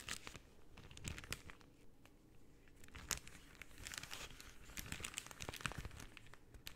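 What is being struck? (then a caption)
Rolled cellophane tube. Pink cellophane rolled into a long hollow tube is squeezed and crinkled with fingertips and nails. Quiet, dense crackling is broken by sharp, bright snaps over a soft low rustle. The crinkles come in uneven bursts throughout.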